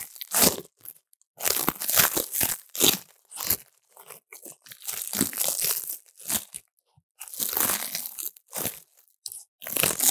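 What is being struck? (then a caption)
Dried leaves in a steel bowl. Fingertips crush brittle dried leaves in a steel bowl, with a foam-covered lav mic held in the pile. Bursts of bright, dry crunching and crackling come in quick clusters separated by short silences, with little low end and almost no ring.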